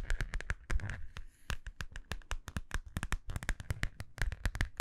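A small, hollow, holographic metallic vinyl zippered pouch is held in both hands and tapped with long nails. It makes a quick, uneven run of sharp, dry clicks with a bright crinkly edge and a soft low thump under each tap. Each tap dies away almost instantly.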